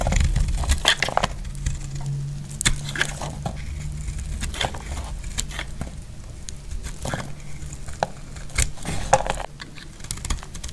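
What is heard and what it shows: A solid, dry pink soap bar held in the hand is shaved and cut with a metal utility knife blade, and chalky flakes fall off. The blade makes repeated crisp, crackly scrapes and short bright snaps over a steady low hum. Each cut ends almost instantly with no ring.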